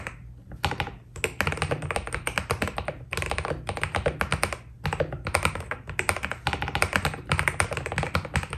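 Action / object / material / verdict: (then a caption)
tap / mechanical keyboard with plastic PBT keycaps / PBT plastic / none. Fast fingertip typing on a white Keydous NJ80 mechanical keyboard with PBT keycaps produces rapid bursts of short keystrokes separated by brief pauses. Each keypress has a deep, low thock body with a bright clack on top and dies away almost instantly.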